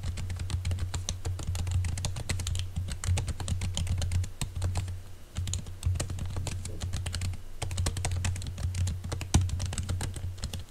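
Fingertips of both hands type rapidly on a laptop keyboard covered by a green silicone keyboard cover. They make dense, soft, muffled tapping over a steady low hum, with brief lulls around the 5- and 7.5-second marks.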